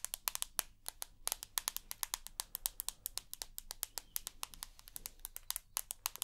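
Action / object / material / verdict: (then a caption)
tap / smartphone with glass screen and aluminium body / glass / none. Long nails tap rapidly on the white glass front of a rose gold iPhone with an aluminium body, producing dense, sharp, bright clicks with almost no ring. The taps come in an irregular stream over a faint low hum, blending smoothly midway through.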